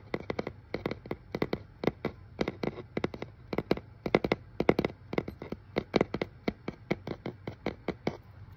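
Fingertips and nails tap and scratch over the shipping label and surface of a medium brown, hollow, corrugated cardboard shipping box held close. The result is a steady run of dozens of quick, dry, hollow taps in uneven clusters, each dying away almost instantly, over a faint low hum.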